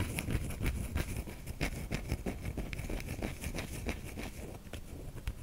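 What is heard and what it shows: Long nails scrape the grooved surface of a white solid soap bar held in a palm, shedding flakes onto the hand. A quick, uneven series of soft scratchy strokes is heard, with dry, crisp clicks over a low, dull rumble.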